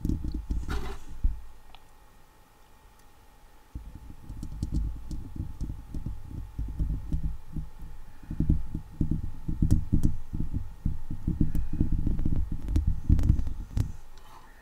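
A fingertip and a long acrylic nail tap and scratch the top and side of a hollow steel mesh microphone head. Dense, muffled low thumps and rubbing scrapes fill the clip, with a quiet pause early on and faint bright ticks above.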